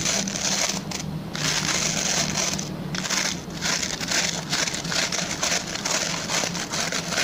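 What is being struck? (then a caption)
Plastic pin-bristle brush. Fingertips and short nails scratch the plastic pin bristles of a hand-sized oval white plastic brush held at an angle. The result is a dense, bright, crackly scratching that runs almost continuously, easing off in brief gaps near the one- and three-second marks, over a faint steady low hum.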